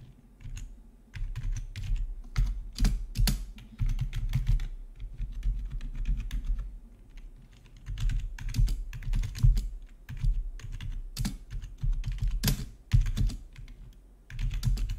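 A full-size black plastic gaming keyboard with rainbow RGB backlit keys, resting on a marble-look desk, is typed on with the fingertips of both hands. Dense bursts of clicky keystrokes come with a low, thumpy body and brief bright clicks, pausing now and then between runs of typing.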